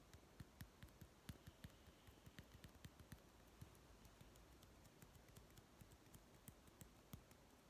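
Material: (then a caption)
Plastic. A small hollow plastic toy food tin with a printed blue label is held in one hand and tapped with the fingertips of the other. About 17 quiet, dry, hollow taps sound at an uneven pace over a soft background hiss, each dying away almost at once.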